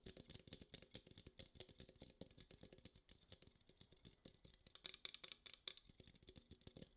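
Long acrylic nails rapidly tap and scratch the printed side of a small red Coca-Cola aluminum can held upright in both hands. The result is a dense stream of quick, dry clicks and scrapes with a bright metallic ring near 3.4 kHz, loudest in a few sharper taps toward the end.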